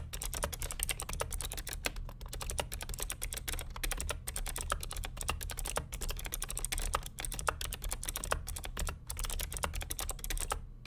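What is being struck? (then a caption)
Plastic mechanical keyboard. A vintage beige plastic full-size NMB RT8255C+ keyboard with Hi-Tek "Space Invader" clicky switches and a hollow case sits on a desk while both hands type rapidly on the keycaps with fingertips. A continuous stream of sharp, bright clicks with short, hollow plastic clacks rings over a steady low hum.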